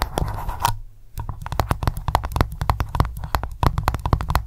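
Long nails tap rapidly on the top of solid white candle wax in an open glass jar. The result is a fast run of short, dry, low clicks and thuds with a brief pause near the one-second mark. Each tap dies away almost instantly.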